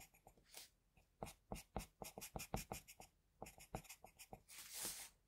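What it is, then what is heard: Pencil drawing on paper. A hand steadily scratches a graphite pencil, held in a metal extender, across a flat sheet of drawing paper while drawing, close up. Quick, dry, scratchy strokes come in a rapid, uneven series with bright, hissy edges, ending in a longer continuous scrape.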